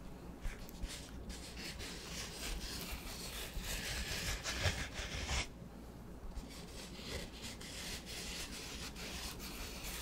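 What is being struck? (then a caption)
Foam sponge block. Fingertips rub and scratch a large, solid, rectangular black porous foam sponge block held in one hand. The sound is a steady, soft, scratchy hiss with a low rumble underneath and bright grainy texture on top. It swells brighter and louder near the middle, then drops back to quieter, even rubbing.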